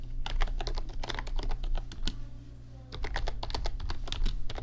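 Fingertips type rapidly on an RGB backlit computer keyboard with plastic keys, producing dense, bright clicky taps over a steady low hum. The typing pauses briefly for about a second near the middle, then resumes.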